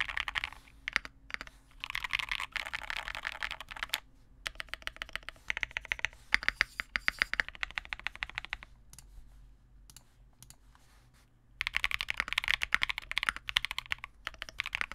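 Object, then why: Plastic mechanical keyboard. A Vega65 65% custom mechanical keyboard with re-lubed Cobalt switches, white plastic keycaps, a dark case and a PC plate is typed on steadily with the fingertips of both hands. Rapid, short, bright key taps come in dense bursts, with a brief break near 4 seconds and a quieter lull around 10 to 11.5 seconds before fast typing resumes. The sound is solid rather than hollow, with almost no low end and no ringing after each tap.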